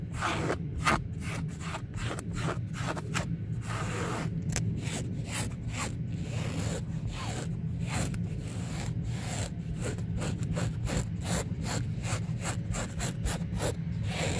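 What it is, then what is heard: Fabric-covered car sun visor. Fingertips and nails scratch and rub back and forth across a grey textile-covered car sun visor, a flat padded panel bearing a yellow airbag warning label. Rapid, dry, bright scratching strokes repeat over a steady low hum that continues throughout at an even level.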